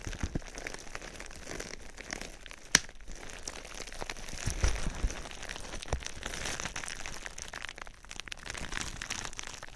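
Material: Plastic.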